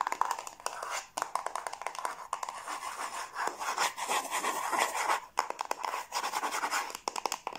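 Long blue nails rapidly tap and scratch the lid and sides of a small, closed, hollow yellow cardboard gift box with a lid, held in the hands. The sound is a fast, continuous run of dry, papery clicks and scrapes centered around 1 kHz with a bright edge and almost no low end. Each tap dies away instantly, with brief pauses between bursts.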